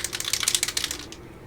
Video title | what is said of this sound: M2A3 Bradley w/BUSK III, Part 28, finale! | now when I shake it, you can hear that ball bearing around. When I first shook this, you couldn't hear it at all.